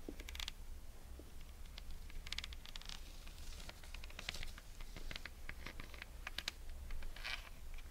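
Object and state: Jute rope espadrille soles.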